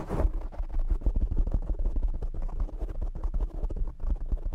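Fingertips and short nails scratch and tap the black foam windscreen on a desk microphone. The result is a dense, continuous run of muffled, boomy thumps and rough scratching, with almost all of the sound in the deep low end and very little brightness. There is a brief brighter rustle at the very start.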